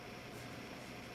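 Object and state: Nothing is struck.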